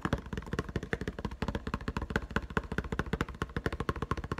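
Fingertips tap very fast on clear plastic blister packaging over a yellow-green Nite-Glo Putty egg. The result is a rapid, uneven stream of short, dry taps with a hollow low thump and a light plastic click, each dying away almost instantly.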